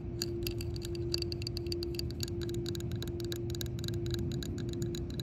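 Long nails tap and scratch across the raised embossed letters and center boss in the recessed face of a solid yellow hard-plastic shuffleboard disc. A rapid, uneven run of short, bright clicks sits over a steady low hum and rumble.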